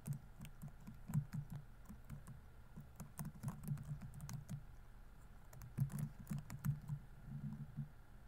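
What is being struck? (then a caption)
Plastic laptop keyboard. Fingertips type on the plastic keys of a laptop keyboard, producing quiet, muffled clicks and soft low taps. The keystrokes come in quick, uneven bursts, with a brief lull around the middle before the typing picks up again.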